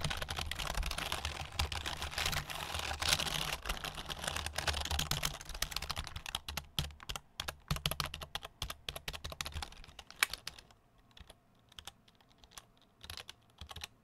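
A black full-size plastic computer keyboard with a hollow plastic body is held up in both hands in front of the microphone while fingertips tap and press the keys. Dense, irregular, bright clicking runs over a low rumble for about ten seconds, then thins to sparse, quieter taps against near silence.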